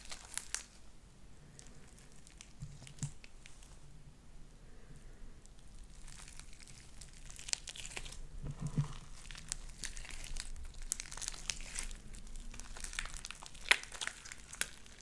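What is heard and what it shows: A mass of light-blue beaded sticky slime is pressed and pulled apart between both hands, with nails pushed into it. It makes quiet, wet squishing with a steady bright crinkling crackle and scattered sharp pops that grow denser toward the end.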